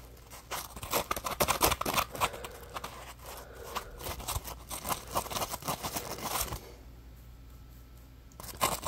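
A small yellow-orange Scrub Daddy polymer foam sponge with a textured surface, dry, is scratched and squeezed with fingertips and short nails close up. Dense, crunchy scratching and crinkly scraping bursts fill the first six and a half seconds, followed by a near-silent stretch and a final bright burst at the end.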